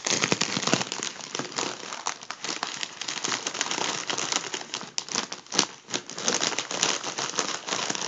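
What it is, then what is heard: Foil balloon crinkled. Fingertips of both hands pinch and crinkle a crease in a hollow, partly inflated gold mylar foil number balloon. A steady stream of dense, bright crinkling and crackling runs throughout with almost no low end, marked by occasional sharper snaps of the foil.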